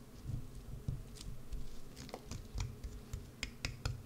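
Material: Soap.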